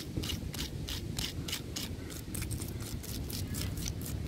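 Fingertips and nails of both hands scratch and tap the rough bark of a large, solid tree trunk. A steady low rumble runs underneath a regular series of short, bright, scratchy bursts that repeat throughout.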